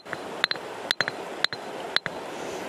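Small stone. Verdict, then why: Hard. A small red stone found in a field is struck repeatedly, giving eight sharp, short clicks in uneven pairs and singles over a faint background hiss. Each hit has a bright, high ring that dies almost instantly, the mark of a hard, dense stone.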